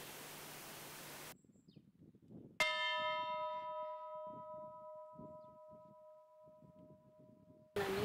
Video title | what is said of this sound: Църква с.Мечкул | няма такъв звук да се чува на далече